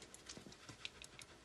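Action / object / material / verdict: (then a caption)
shake / plastic paint pot with liquid paint / plastic / none. A plastic pot of Snakebite Leather paint is shaken to mix the liquid paint inside. It makes a rapid series of quiet, bright rattling clicks, mostly high-pitched with a little low thump.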